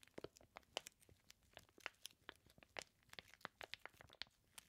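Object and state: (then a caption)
Plastic-wrapped bacon package. Fingertips rub and press the crinkly clear plastic sealing a flat package of raw bacon slices. The result is a quiet, rapid string of sharp, bright crackles and crinkles with almost no low end, each snap dying away instantly.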